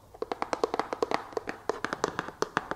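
Long fake nails tap a wooden brush, the PFW Wood brush, in a steady ASMR rhythm. Nineteen short, dry, woody clicks sound, each with a hollow tone near 450 Hz and a bright edge, dying away almost instantly.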